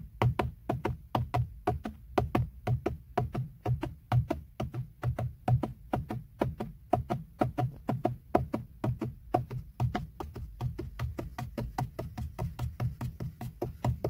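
Fingertips of a flat hand tap on a textured black plastic BMW steering wheel airbag cover, a hollow molded panel. Dozens of short, dull, hollow taps with a low thump fall in a quick, uneven rhythm, each dying away almost at once.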